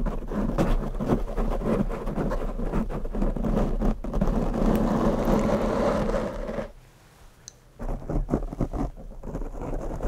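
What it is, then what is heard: Foam microphone windscreen being scratched. Bare fingertips scratch and tap two identical large, soft, porous black foam windscreens on microphones, making a dense, muffled rumbling rustle with low thumps. The scratching runs continuously for about six and a half seconds, drops to near silence for about a second, then resumes in uneven bursts.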